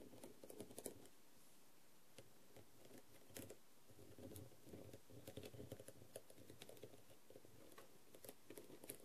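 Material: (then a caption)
Plastic. A thin wooden skewer taps and scratches across a small blue half-face masquerade mask covered in faceted plastic rhinestones with gold bead trim, lying on a dark tray. Quiet, sharp clicks with bright, crisp attacks and very short decay are scattered irregularly over a soft, dry scratching rustle.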